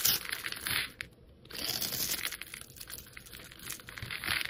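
A solid black soap bar is held in the fingers while a metal utility blade scores and scrapes it, and small cubes crumble off. The scraping is a dry, crisp crackle, mostly high and bright, with a brief quiet pause near the one-second mark before it resumes.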